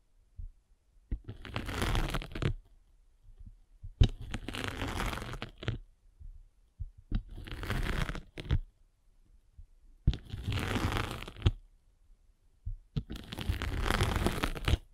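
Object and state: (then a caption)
Foam sanding sponge. A derma roller with metal spikes is rolled across a gray abrasive sanding sponge with a blue foam layer, held flat. Five separate bursts of dense, gritty scratching rise in loudness and fade, each lasting one to two seconds. Soft low thumps and brief clicks fill the quiet gaps between them.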